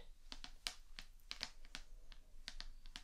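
Long dark-painted nails tap the glossy card front cover of the paperback book "The Fragrant Pharmacy," which is solid, closed and held upright on a wooden table. A quick, irregular series of short, dry, bright clicks rises from a quiet background with a low hum, and each tap dies away almost instantly.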